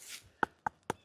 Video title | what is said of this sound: BOUNTIFUL FALL HARVEST | knock on it feel it it's solid it's hard it doesn't have those tell signs of it being green and still growing